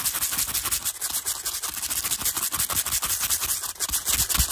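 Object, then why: Stack of small plastic cases. The bristles of a teal hairbrush, held in the hand, rapidly brush and scratch across a stack of small, translucent, pastel plastic cases that are hollow and appear empty. The result is a dense, continuous, bright scratchy rustle with little low end, pulsing quickly and steadily for the whole clip.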